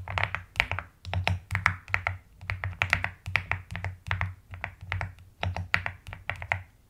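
Long nails and fingertips tap and type across a pastel mechanical keyboard with plastic keycaps. Quick, bright clacks come in an uneven typing rhythm with short, dry decays, over a steady low hum.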